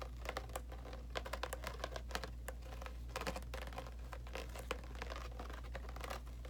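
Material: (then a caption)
Sheet metal. Fingernails rapidly tap and scratch a thin, light grey-blue corrugated sheet-metal panel perforated with round holes. The result is a fast, uneven run of light, clicky taps with brief scratchy strokes, each dying away quickly, with a thin, hollow tone around 500 Hz. A steady low hum sits underneath.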